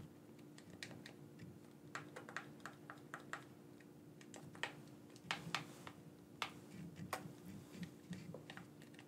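A black, wired, hand-sized hollow plastic gamepad is held in both hands while fingertips click its buttons. Many short, sharp plastic clicks come in irregular bursts, each dying away almost at once, over a steady low hum.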